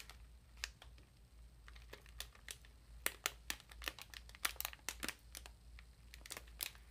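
A small exfoliating bath sponge in a thin clear plastic wrapper is turned and crinkled between the fingers while both hands stretch the wrapper taut. Quiet, irregular bursts of sharp, bright crackles and snaps sound over a faint low hum, each crackle dying away almost instantly.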